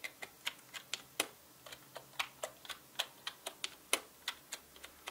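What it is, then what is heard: Plastic mechanical keyboard. Fingertips type fast on a full-size black mechanical keyboard with plastic keycaps, giving about 21 sharp, bright clicks and taps. Each keystroke is short and crisp with almost no ring and no low thump.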